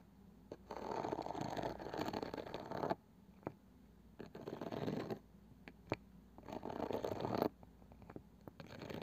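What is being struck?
Small round wooden box with woven cane side band.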